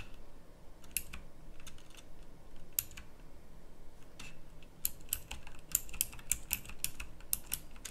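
Fingertips type on a pink backlit plastic mechanical typewriter-style keyboard with round plastic keycaps. Sharp, bright, clicky keystrokes come in uneven bursts over a low background rumble, with about eighteen distinct clicks.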